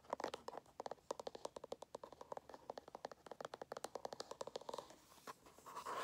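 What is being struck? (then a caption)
Small cardboard phone box. Fingernails scratch and tap the surface and edges of a small, hollow, closed kraft cardboard Samsung phone box held in the hands. About forty quick, dry, clicky taps and scratches sound in uneven bursts, bright in the midrange with almost no low end and no ring. The clip ends in a soft, continuous hissing rub.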